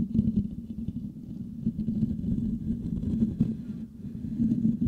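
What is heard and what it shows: Fingertips and nails of both hands scratch the hollow metal mesh grille of a Blue Yeti microphone. The result is a dense, continuous rough rasping and crackling, heavy in the low range around 200 Hz with little high content, swelling and dipping without pause.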